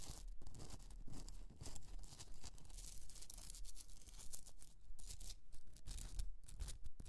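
Long nails scratch the rough, crystalline surface of a pink Himalayan rock salt candle holder resting on a fur rug. The result is a steady run of dry, gritty scraping strokes, with bright rasping texture over a low rumble.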